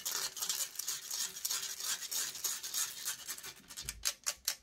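Long grey nails scratch rapidly and roughly across the metal mesh grille of a silver microphone, making a dense, bright, rasping scrape with almost no low end. Near the end the scratching breaks into a few separate, sharper strokes.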